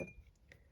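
Three light taps on a glass snowman votive candle holder, which holds a melted-down candle, give quiet, short glassy clinks. The tone sits around 540 Hz with a faint bright ring that fades quickly.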